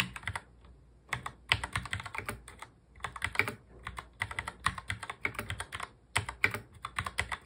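Fingertips of both hands touch-type fast on a full-size black plastic mechanical keyboard. Rapid bursts of sharp, bright clacking keystrokes with short pauses between runs, each click dying away almost instantly.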